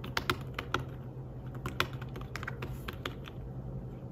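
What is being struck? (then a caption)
Slim fabric-covered tablet keyboard. Fingertips tap the keys of a slim fabric-covered tablet keyboard while typing, producing a quick, uneven series of soft, muted clicks with short, dry decay. A steady low hum runs underneath throughout.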